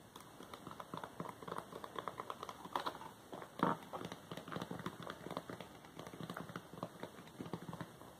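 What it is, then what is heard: Cardboard product box. Fingertips scratch and tap across the printed sides of a small glossy paperboard product box for Wowax depilatory hard wax, with its contents inside. The result is a steady stream of quick, soft, dry papery taps and scratches with little ring, mostly in the low-mid range, with a few louder taps standing out near the middle.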